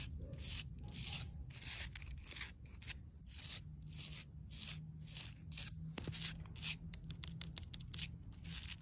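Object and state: Weathered clay brick scratched.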